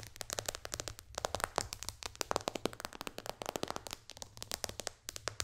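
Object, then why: Tablet glass touchscreen. Long dark fingernails tap rapidly on the glass touchscreen of a white-bezel iPad lying flat. A fast, irregular run of dozens of short, sharp, bright clicks plays over a faint low hum, each tap dying away almost instantly.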